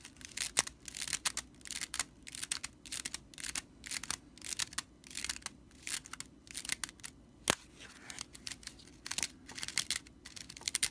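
Fingertips and long nails scratch along the bound straw body of a broomcorn straw whisk broom with red-stitched dry straw bristles, lying on a wooden table. A rapid series of dry, crackling scratches and rustles comes in short uneven bursts, bright and crisp with almost no low end. Each scrape stops instantly with no ring.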